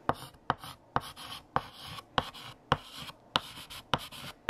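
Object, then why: Chalk on a painted chalkboard. A stick of blue chalk held in the fingertips writes text across a large, flat, solid black painted chalkboard. Nine sharp taps, each followed by a bright, scratchy stroke of chalk dragging over the board, come at an uneven pace in a quiet setting.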